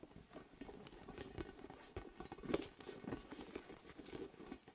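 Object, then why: Inflated vinyl spiky ball. Fingertips tap on a large orange hollow inflated vinyl ball with soft spikes, close to the mic. The result is a stream of soft, dull, irregular pats with a hollow low-mid thud around 400 Hz and a faint bright rustle. One tap near the middle lands louder than the rest.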